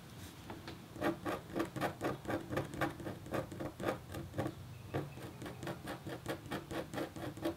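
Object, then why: Black-coated copper foil scratch board. A red-handled metal stylus etches a thin, solid, flat black-coated copper foil scratch art board in short scratching strokes. It makes dry, papery scrapes at about two per second in a loose rhythm, each stroke brief with almost no ring.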